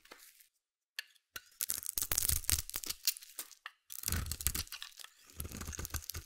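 A hand-held, solid white embossed bar soap is scraped with a metal utility blade, shaving it into curls. Dry, bright, crunchy scraping strokes come in bursts with brief pauses between them, over a low rumbling undertone.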